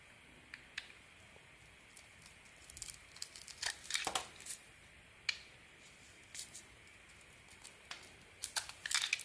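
A metal blade shaves the red coating off a solid oval red "Elixir" soap bar with gold star decorations, held in hand, revealing the white soap underneath. Crisp, bright scraping and crackling strokes come in a quick, irregular series, some short and sharp, others in longer rustling bursts, over a quiet background.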